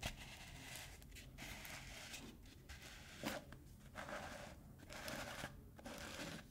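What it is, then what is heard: Plastic screw lid on a tub. A black plastic screw lid on a hollow, medium plastic Lush cosmetic tub, held in both hands, is scratched, tapped and twisted along its ridged rim with fingertips and nails. A steady dry scratching and rasping texture runs throughout, broken by brighter taps, with a sharp click near the middle.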